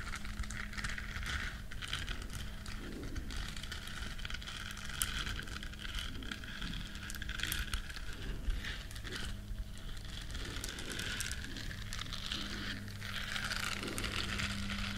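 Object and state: Silicone bristle scrubber scratched with nails.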